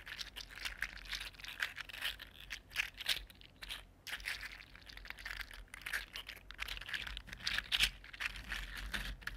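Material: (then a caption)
Plastic. A red-gold 3D printed plastic articulated slug is picked up, flexed in one hand and put back down, its segments clicking against each other. The clip is a dense, continuous run of small, bright clicks and crinkly rattles centred around 3 kHz, with a faint low hum underneath.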